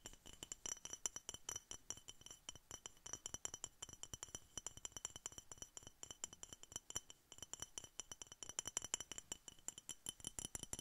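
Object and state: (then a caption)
Glass bottle. Rapid, continuous tapping on a glass Coca-Cola bottle produces a dense stream of short, bright clinks with a high glassy ring that dies away almost instantly. The taps vary in strength and there is little low-end body throughout.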